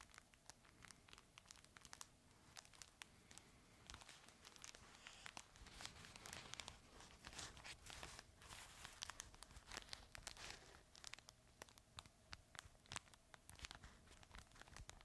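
A red, chip-bag-shaped fabric plush dog toy with crinkle material inside is held in both hands and squeezed and crinkled close to the microphone. It makes a dense run of sharp, bright crinkling and crackling bursts that swell in the middle and thin out toward the end.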